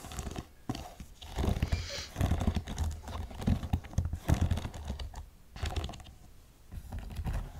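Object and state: Studded suede boot.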